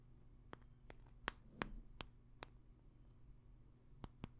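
A small, flat black smartphone in a hard black plastic case is held up and tapped and scratched with long nails on its back and edges. Eight sharp, crisp clicks sound at an uneven pace with faint scratching between them, over a quiet, steady low hum.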